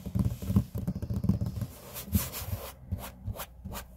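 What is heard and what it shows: Flat hands and short-nailed fingertips rub back and forth across a large, flat, solid grey laminate tabletop. The result is a dull, low, fluttering rubbing with brief brighter scratchy swishes in the second half.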